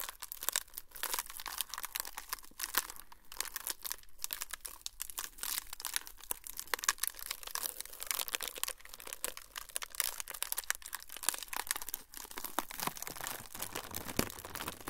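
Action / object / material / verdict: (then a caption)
scrape / thin flexible plastic sheet / plastic / none. A thin, flexible, semi-translucent frosted plastic sheet is crinkled by both hands close to the recorder for about 15 seconds. It makes a dense, steady run of bright, crackling rustles with sharp little snaps and almost no low rumble.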